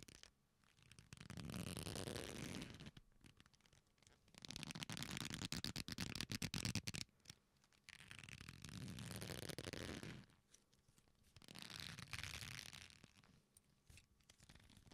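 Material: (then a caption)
Leather. A black leather belt with a flat solid strap is folded and bent with the fingers, giving quiet creaking and rubbing sounds. These come in four bursts, each about two to three seconds long, with pauses between them. The bursts mix a low rumbling texture with bright, crackly friction.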